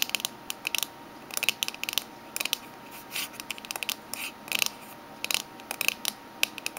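A small, closed, hollow oval Minteas mint tin of aluminium or tin, with a green lid and an orange label band, lies flat on a red table and is tapped on the lid with the long fingernails of both hands. Quick, irregular bursts of sharp, bright metallic clicks sound over a quiet background, each dying away almost instantly.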